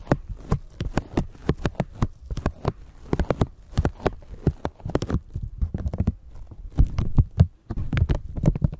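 A thin clear plastic bag stretched over a microphone is scratched and scrunched with long nails, with possible handling noise from the microphone underneath. The result is a dense run of quick, dry crinkles and crackles, each a brief bright snap over a heavy, muffled low-end thump. The bursts come steadily, then grow busier and louder toward the end.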